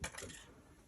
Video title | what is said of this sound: MGI Restoration Speaker Analysis | if you hear some rattling around in there, this copper is gone